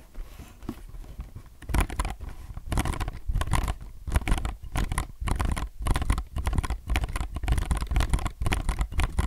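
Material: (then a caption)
Plastic. A low-profile mechanical keyboard with plastic keycaps is handled up close, with hands resting on and rubbing or pressing the keys, then holding the sides of the keyboard. Soft, low-heavy tapping and scratchy rubbing come in uneven bursts, with short clacks that die away almost at once and brief quiet gaps between them.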